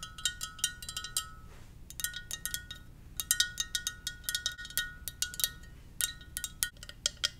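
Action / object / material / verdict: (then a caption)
tap / ceramic mug / ceramic / none. Fingers tap gently on a ceramic Darth Vader mug. The rapid, irregular taps make bright, glassy clinks with a faint pitched ring, and each tap fades quickly. The taps come in clusters separated by brief pauses.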